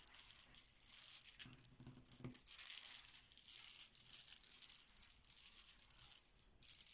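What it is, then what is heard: Plastic letter tiles being shuffled. Small, solid, cream plastic Bananagrams letter tiles spread on a marble countertop are shuffled and pushed around with the spread fingertips of both hands. They make a continuous, bright, dry clacking and rattling as the tiles knock together, rising and falling in waves with no pauses.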